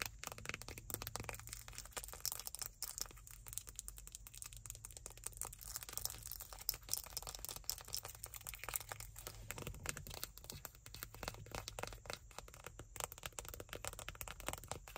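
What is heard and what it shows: Long nails tap and scratch the body and blue cap of a small white plastic ointment tube, hollow and partly full. Quiet, dense crinkly clicks and scratchy crackles with a bright edge, each tick dying away almost instantly. A steady low hum sits underneath throughout.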